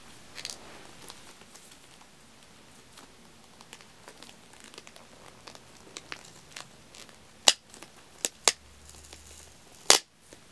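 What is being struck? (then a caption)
Aluminum tealight cups sealed in plastic film. Fingertips and nails tap and pick at the top of a pack of two rows of small hollow aluminum tealight cups sealed in clear plastic film. Quiet, bright crinkling and scattered light ticks run throughout, then four sharp, crisp taps stand out near the end, each dying away almost instantly.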